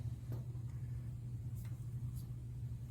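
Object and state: Nothing is struck.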